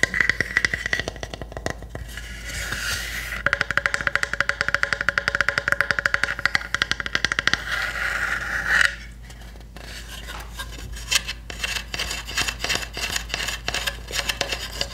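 A small hollow pine wood hamster house is held and turned while long nails tap and scratch its sides. Rapid, dry clusters of tapping with a hollow tone around 2 kHz alternate with stretches of bright, rasping scratching. Each tap dies away almost instantly.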